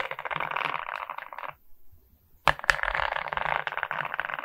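Long nails tap and scratch the resin beads of a larger resin rhinestone diamond painting, making dense, crackly clicking and scraping centered in the mid-range. The scratching pauses into near silence around the middle, then resumes after two sharp, separate taps.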